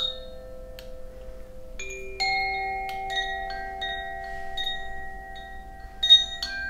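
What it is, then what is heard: Koshi wind chime with metal rods. A hollow bamboo Koshi wind chime with tuned metal rods inside and a wooden sail below hangs from fingers by a string and is swung and shaken by hand, so the inner clapper strikes the rods. Bright, high metallic tinkles ring out, and their sustained tones overlap into a shimmering, layered chord that keeps building with each new strike.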